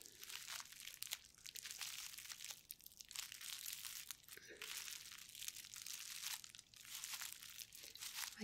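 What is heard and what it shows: Long painted nails and the fingertips of both bare hands scratch, tap and press the air bubbles of a flat sheet of clear plastic bubble wrap lying on a white table. A quiet, steady, bright crinkling and scratching fills the clip, dotted with many short, crisp taps. There is almost no low end, and the level dips briefly between bursts of scratching.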